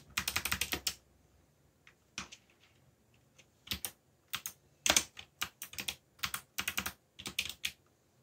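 Fingertips press keys on a backlit mechanical computer keyboard with black plastic keycaps in fast typing taps. Bursts of bright, crisp clicks come in quick clusters separated by short pauses, each click dying away almost at once with little low end.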